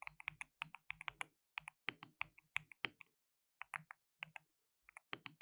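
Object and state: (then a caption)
Plastic mechanical keyboard being typed on. Fingertips type rapidly on a white RGB-backlit compact mechanical keyboard with plastic keycaps and a hollow case. About thirty bright, dry clacks come in quick bursts, with short pauses between runs. Each keystroke stops almost instantly, with no ring.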